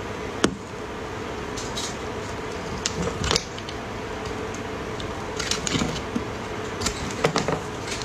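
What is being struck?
Bar of soap shaved with a metal blade.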